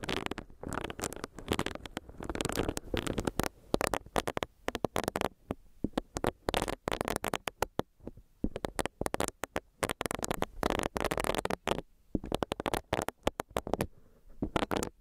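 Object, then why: Silicone facial brush. Long nails tap on a small, solid, pink bunny-shaped silicone facial brush, and its bristles are rubbed against the microphone. The result is a dense run of quick, dry clicks and scratchy rustling bursts with brief pauses between them, centered in the low-mid range with little high end.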